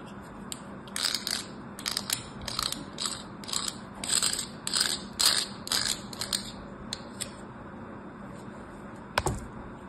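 A craft knife blade scores thin lines across the surface of a solid purple bar soap with an embossed logo, held in the hand. A series of short, bright, crisp scraping strokes comes at a steady rhythm of about two per second, and a single sharp click follows near the end.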